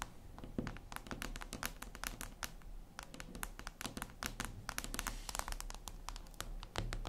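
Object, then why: Glass tablet screen. Long red nails tap rapidly on a flat, glossy black reflective glass surface, likely a tablet screen. The result is a dense, irregular run of short, dry, bright clicks that die away almost instantly, over a steady low hum.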